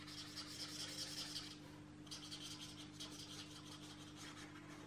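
A marker is rubbed in short strokes over the paper page of an open paperback coloring book lying flat, while the other hand holds the page. The strokes make a bright, scratchy rasping with a brief pause near the middle, over a steady low hum.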